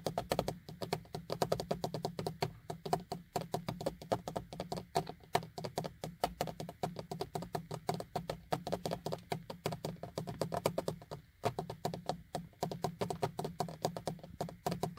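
Fingertips tap quickly on the small, hollow, beige plastic vanity mirror cover and its frame on a car sun visor. The result is a dense, steady stream of short, dry, clicky plastic taps with a hollow midrange tone. A constant low hum sits underneath.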